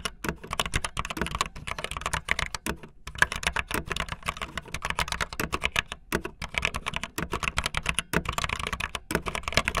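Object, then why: Mechanical keyboard with plastic keycaps. Fingertips with long nails type fast on a backlit optical linear plastic mechanical keyboard with white and blue plastic keycaps. A dense, steady stream of short, sharp clacks with bright plastic tops and a light low thump underneath, each keystroke dying away almost instantly.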